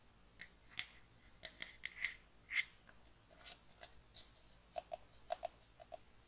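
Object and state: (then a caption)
Hollow pine wooden box. Long nails tap on a small, light, hollow pine wooden box held upright, making a quick, irregular run of sharp, dry clicks. The clicks are bright and crisp with a faint hollow knock beneath some of them, and each one stops almost instantly in a quiet space.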